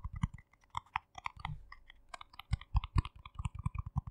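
A small, round, hollow yellow plastic jar with a lid is held in both hands while fingernails tap and click fast on the lid. About two dozen short, dry clicks follow in an uneven rapid run, with a brief pause early on. Each has a low hollow knock near 100 Hz under a bright tick and dies away almost instantly.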